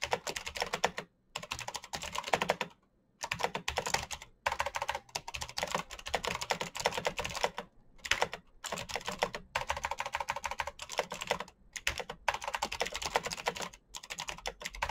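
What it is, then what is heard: Plastic mechanical keyboard. Fingertips type fast on a black plastic mechanical keyboard with clicky switches. Dense bursts of bright, sharp clicks are broken by short pauses, and each click dies away almost at once.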